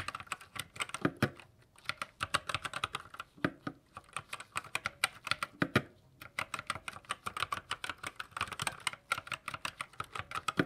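Gloved fingertips type continuously on a white 60% GK61 mechanical keyboard with silver switches and plastic keycaps. It produces a rapid, uneven stream of short, bright plastic clicks and clacks, with brief pauses near 2 and 6 seconds.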